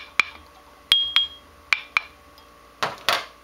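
A cracked abrasive grinding wheel is tapped seven times, giving short, dull clicks centered around 2–3 kHz that die away almost at once with no ringing tone. The last two taps sound harsher and noisier. The dead, non-ringing response marks the wheel as cracked and bad.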